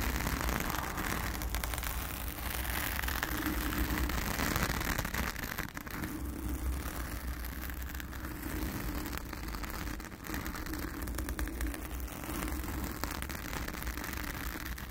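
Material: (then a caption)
Foam. Long acrylic nails of both hands scratch a blue foam cover on a round studio microphone. The result is a steady, dense, crackly rustling with a heavy low rumble that stays nearly even throughout, dipping briefly near the middle and again shortly after.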